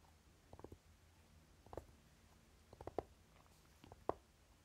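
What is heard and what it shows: Short fingernails of both hands tap and scratch a closed Urban Decay Naked eyeshadow palette, a flat rectangular case with a dark velvety fabric cover and gold lettering, lying on purple fabric. Four quiet bursts of soft, muffled taps with light scratching sit mostly in the low-mid range. Each tap dies away almost instantly against faint background hiss.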